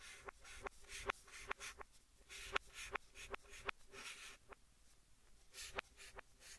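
White chalk held in the hand scratches and writes letters on a large, flat green chalkboard in a wooden frame, with the sound played in reverse. Soft, bright scraping strokes are broken by about thirteen sharp, dry clicks of the chalk against the board, each one dying away instantly. The overall level stays quiet, with gaps of near silence between strokes.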